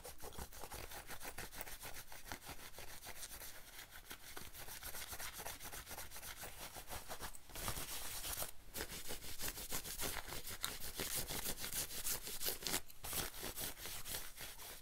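Fingers scratch and rub the front panels and sleeve of a worn, light-wash denim jacket. The result is a steady, rapid, dry scratching texture with a bright fabric hiss and a low rumble underneath, growing louder and denser after about 7.5 seconds.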